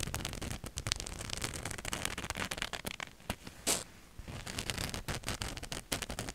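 Long nails scratch a black cotton t-shirt with a glittery white ghost and bat print, hung in front of the mic. The result is a dense run of quick, dry, crackling scratches with a bright edge. The sound eases into a quieter stretch with a short brighter hiss midway before picking back up.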